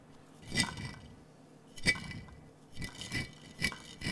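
A large clear glass jar with a metal lid, partly filled with small blue and clear glass marbles, is held in both hands and shaken so the marbles rattle inside the hollow jar. Slow, uneven bursts of bright clinking and rolling scrape come in short clusters with quiet gaps between them. Each burst carries a faint glassy ring near 2 kHz.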